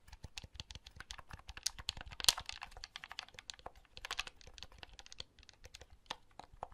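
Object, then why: Plastic handheld game console. Fingertips press the buttons and handle the shell of a small, hollow blue plastic handheld game console held in the hand. A rapid, irregular stream of quiet, sharp, bright plastic clicks and taps with almost no ring, a few landing louder than the rest.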